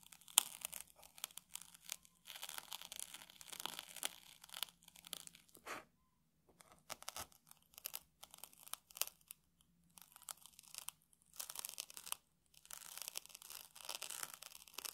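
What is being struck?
Puffed rice cake.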